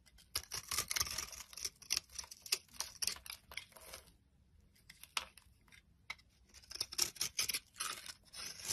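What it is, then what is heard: Bar soap being scraped. A metal blade scrapes crumbly shavings off a solid oval bar of soap with herbal speckles, held in the hand. Bright, crisp scratching bursts come in quick clusters with almost no low end, pausing to near silence around the middle before resuming.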